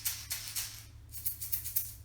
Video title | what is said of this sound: Montessori Inspired Logic, Sorting and Sensorial Activities for Children 2 to 5 Years Old | that does not sound the same